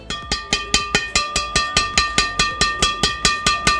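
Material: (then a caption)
Carbon fibre. A strung carbon Yonex Nanoflare 800 Pro badminton racket is tapped 18 times in a steady, quick rhythm. Each tap gives a bright "ting" with a clear tone near 1.2 kHz and high overtones that ring briefly between hits. The longer ring is typical of a high-end racket, like the "ting" of netting a shuttle on court.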